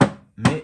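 A 1964 asbestos-cement lamp cover from a Holophane ARO 2 lantern is knocked three times, giving short, hard knocks with a low thud and a tile-like ring that dies away quickly. The cover is old and carries an original dent and a crack that has not gone through.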